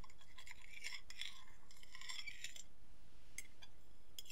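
The tines of a metal fork are scraped and tapped rapidly across the surface of an empty white ceramic plate held on the lap. This gives quiet, bright scratching and clinking bursts around 3.4 kHz over a steady low rumble. The bursts come in clusters and then thin out into a few sharp ticks near the end.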